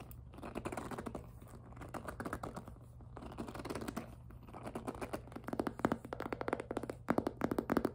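Long nails tap quickly on the plastic top and side of a tilted, hollow pink jelly PVC handbag. The result is a rapid stream of dry, hollow clicks with a low-mid body around 277 Hz over a faint steady low hum. The taps grow denser and louder in the last few seconds.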